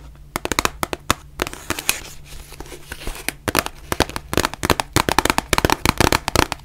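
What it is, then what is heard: Cardboard box tapped with nails. Long nails tap and scratch on a white printed cardboard face mask box, producing about 32 sharp, dry, bright clicks with no ring. A stretch of softer, hissy scratching fills the middle between the taps, over a faint steady low hum.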